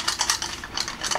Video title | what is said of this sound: This is why auto Evos fail.. (pulling the torque damper) | clang like that that's a sign that you got a bad torque damper